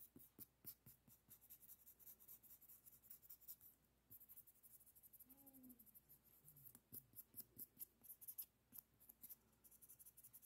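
Fingertips and nails scratch and rub the surface of a long, flat nail file printed with pink hearts, held in both hands. Quiet, bright, dry scraping strokes come in quick bursts, with a brief lull in the middle where faint low gliding tones are heard.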